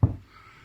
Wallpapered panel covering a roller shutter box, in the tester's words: there's a panel here you can hear it's Hollow